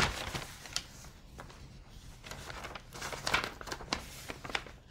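A folded printed newsprint insert with coloured pages is held and flipped with fingertips and long nails. It makes dry crinkling and rustling paper sounds with bright, sharp crackles. The crackles come in quick bursts over a soft background hiss.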